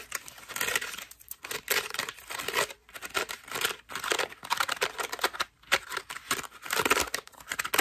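A white foam bath loofah is squeezed and scratched with long nails, held close. It gives dense, bright crinkling and scratchy crackles in uneven bursts, separated by brief quiet gaps.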